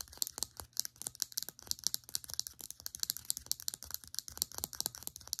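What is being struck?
Small plastic serum bottle tapped with fingernails.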